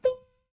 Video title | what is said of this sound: Pelembapan Dan Resonans // Damping & Resonance | dia ketuk kaca tu, ting, dia dengar. Dia dengar frekuensi gelas tu